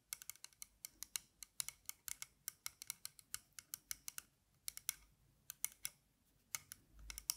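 Long nails tap and scratch the thin metal frame and arms of dark-lensed aviator sunglasses held in the hands close to the mic. The result is a quick run of crisp, bright clicks and ticks with almost no ring, with a short pause near the middle before the tapping resumes.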